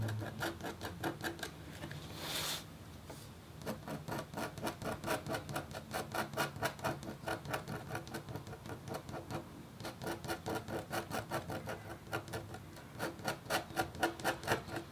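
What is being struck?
Coated copper foil scratch board scraped with a metal stylus.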